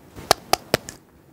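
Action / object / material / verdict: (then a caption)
tap / fiberglass arm cast / fiberglass / hard. Four quick, sharp taps on a hardened blue fiberglass arm cast give short, dry knocks with almost no ring, the last one softer. The hollow, door-knock-like tone shows the cast has set hard as it should.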